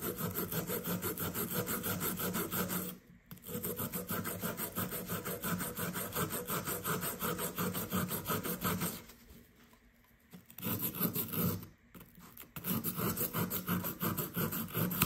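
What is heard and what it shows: The tip of a blue plastic digging tool scrapes and scratches a fist-sized solid blue plaster dig block resting on kraft paper, building up powder. Quick, steady rasping strokes run through the clip, broken by brief pauses near 3 and 12 seconds and a longer quiet stretch around 9 to 10.5 seconds.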